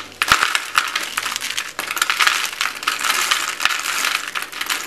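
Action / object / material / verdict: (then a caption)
scrape / soap shavings and flakes / soap / none. Thin stacked shavings and flakes of blue and white marbled dry soap are squeezed and crushed in both fists and handled in cupped palms by hands with red-painted nails. A dense, bright, crisp crackling runs throughout, with sharp little snaps standing out and almost no low end.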